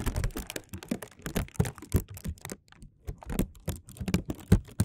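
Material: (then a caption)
Plastic film. Fingertips tap and crinkle a thin, clear plastic film bag draped over a microphone, held and pulled taut so it sits hollow. The result is a fast, uneven run of short, dull, bassy thumps mixed with crisp plastic crackle, each tap dying away almost at once.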